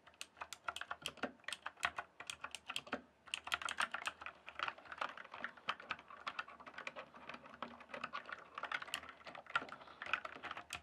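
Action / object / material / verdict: tap / plastic computer keyboard / plastic / none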